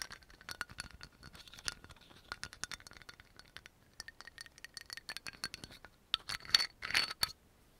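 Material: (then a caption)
Glass. Fingertips and nails rapidly tap and fiddle with the black cap of a dark brown amber glass oil bottle with a yellow label. The result is a quick, irregular rattling of bright clicks and taps with faint glassy ringing, ending in a louder flurry of scraping rattles.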